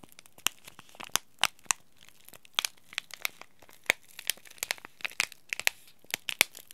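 A small green laminated plastic-foil tea bag packet is bent, crinkled and scratched by fingers and nails. It makes a quick run of sharp, dry crackles and crinkles with almost no low end, each snap bright and dying away at once.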